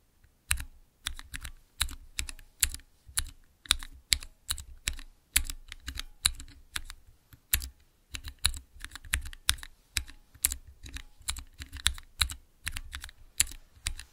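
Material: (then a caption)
Plastic. Fingertips press the transparent keycaps on a small clear acrylic Cherry MX mechanical keyboard switch tester. The result is a steady run of short, bright clacks with a low thock beneath each press. Each keystroke stops almost instantly, with no ring.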